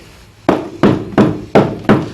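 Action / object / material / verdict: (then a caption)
knock / ceramic wall tile on mortar / ceramic / hollow. Five knocks on a ceramic wall tile laid over mortar, each a short hollow thud centered around 200 Hz that fades quickly. The tile sounds hollow because the mortar left gaps behind it.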